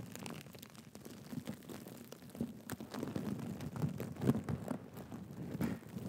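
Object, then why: Sequin-covered fabric cushion. A black and gold sequin cushion is held in both hands while fingertips and nails scratch across the sequins. The result is a quiet, dense, scratchy rustle with soft low-mid clicks that come quickly and irregularly, swelling slightly louder toward the end.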